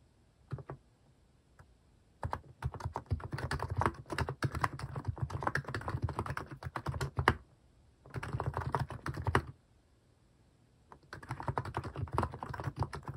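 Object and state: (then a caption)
Plastic mechanical keyboard being typed on. Fingertips type on a compact Hanmumu mechanical keyboard with a white plastic case and cat-themed plastic keycaps. After a few scattered taps, dense runs of short, deep, clacky keystrokes come in three bursts separated by brief pauses, each tap dying away almost instantly.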